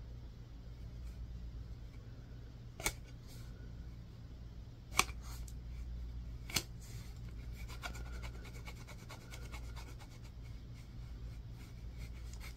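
A small rounded piece of solid white bar soap, held in the fingers, is scratched and carved with a wooden-handled tool with a yellow tip. Three sharp, bright clicks stand out over a low, steady background hum. They are followed by a run of quick, fine scraping strokes.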